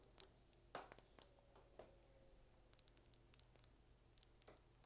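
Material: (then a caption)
Plastic. Long red nails tap and scratch a small, slim dark purple plastic lip gloss tube with a gold cap, hollow with gloss inside and held close up. The result is a quiet run of sharp, bright clicks and short scratchy strokes that stop almost instantly, over a faint low hum.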